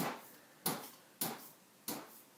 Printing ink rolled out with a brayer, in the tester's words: that's got a little tacky self to it and that's what I'm looking for is that sound and that tells me that I've got it laid out enough here